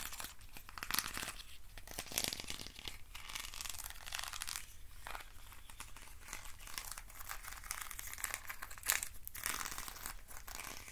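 A hand-sized hollow hexagonal box made of thin wooden sticks is scratched and rubbed with fingernails along its ribbed sides. The result is a continuous dry, bright scraping and crinkling texture with rapid ticking detail and a few sharper scratches standing out.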